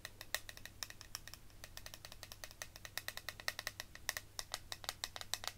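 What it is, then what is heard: Clear plastic eyeshadow compact. A small, square, clear plastic eyeshadow palette with powder inside is held in the hand and tapped and scratched with fingertips and long nails. It gives about forty quick, dry, bright clicks with a hard tone near 1.8 kHz, irregularly spaced, each dying almost instantly. A faint steady low hum sits underneath.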